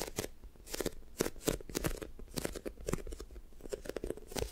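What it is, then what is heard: Sticky foam squishy toy. Long nails and fingertips squeeze, press and tap a soft, solid, light-blue sticky foam squishy toast toy. Quick, dry crackling taps and sticky clicks come in uneven clusters, each sharp and brief with no ring. Faint low rumble sits underneath.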